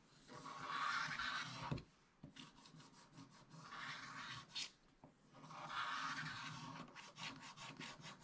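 A wooden stylus scrapes the black coating of a scratch-art paper page in a spiral book, working near the top of the page. Three longer dry, rasping scrapes are heard, separated by shorter scratchy strokes and faint ticks, with a bright, papery hiss and no ring after each stroke.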